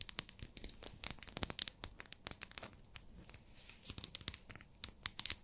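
Long nails tap and scratch a small, solid pink glycerin soap bar in its plastic wrapper. Quick, bright, crinkly clicks and scratchy rustles come in uneven bursts, each dying away almost instantly, with a short quieter stretch in the middle.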